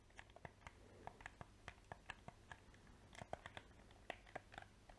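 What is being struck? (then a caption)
Hard-plastic game controller. A handheld, hollow, black hard-plastic PS4 game controller is held in both hands close to the microphone while fingertips with painted nails press and click its buttons and sticks. The result is a rapid run of sharp, dry clicks and taps, each dying away almost instantly, at an uneven pace.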